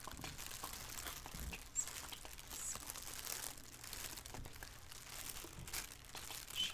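Both hands with painted fingernails crinkle and scrunch a thin black plastic shower cap with an elastic edge, hollow and empty, lying on a wooden table. A soft, steady stream of bright, crackling plastic crinkles runs throughout, with a few slightly louder crunches standing out.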